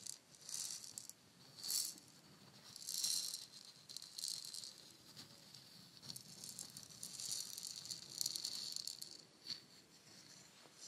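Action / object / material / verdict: shake / painted wooden shaker egg / wood / none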